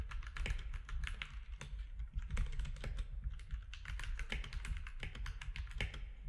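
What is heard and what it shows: Fingertips of both hands type steadily on a compact mechanical keyboard with grey, white and orange plastic keycaps. The result is a rapid, continuous stream of short, dry clacks with bright click tops over a low, thocky body.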